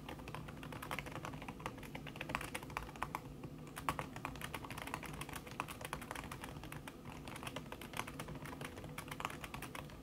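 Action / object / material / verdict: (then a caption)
tap / laptop keyboard with silicone key cover / silicone / none. Long red nails type fast on a backlit laptop keyboard in a silver aluminum body, its keys covered by a thin red silicone skin. A dense, steady stream of soft, muffled clicks and taps with short bright ticks runs evenly throughout, over a low background hum.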